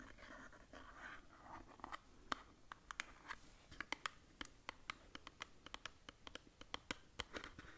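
Long nails scratch and tap a small blue-white cardboard skincare box held upright. Soft papery scratching in the first couple of seconds gives way to a steady run of crisp, dry taps with bright clicky tops that stop almost instantly, all at a quiet level.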